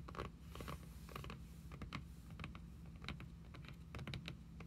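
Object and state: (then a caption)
Cloth-covered hardcover journal. Long pink acrylic nails tap and scratch the front cover of a closed red hardcover journal, which has an embossed, cloth-covered cardboard cover and lies flat on a wooden table. The result is a quick, uneven run of short, dry clicks and soft scratchy rustles that die away almost instantly, over a steady low hum.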